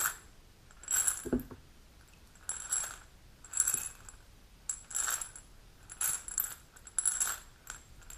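A small dark amber glass supplement bottle with a gold metal cap and paper label, holding capsules, is held in the hand, turned and tapped with long pink natural nails. Short bursts of bright, high clicking and light ticking come in clusters, with a faint rattle of the capsules inside.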